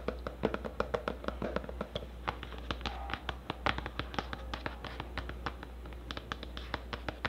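A medium black plastic cosmetic tub with a red and white label and a black lid, hollow and probably filled, is held in the hand and tapped with long orange nails on its side and lid. The result is a rapid, irregular run of short, dry clicking taps with almost no ring, over a steady low hum.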